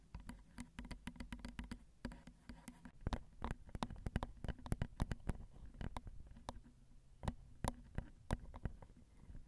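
Long acrylic nails gently tap the sides of the plastic and metal housing and the metal grilles of a Zoom recorder's XY microphone, which has small hollow metal mic capsules. The result is a rapid, irregular stream of short, dry taps, each a dull low thump topped by a bright click, with some taps sharper and louder than others and almost no ring after each one.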